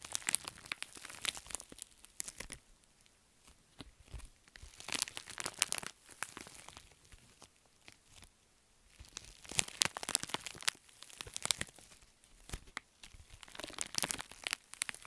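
An empty pink metallic foil padded bubble mailer is scratched and tapped by long nails and flexed in the hands. Bright, crisp crinkling and crunching comes in bursts separated by brief quiet stretches, with sharp clicks and almost no low end.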